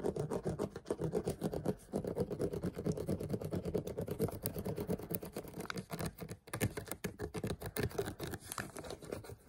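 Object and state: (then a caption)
Plastic water bottle. A clear plastic water bottle, held close, is scratched with the fingernails of the gripping hand. The result is a rapid, steady stream of dry scratching and tapping that is dense in the low-mid range, with short dips and a brief pause near the middle.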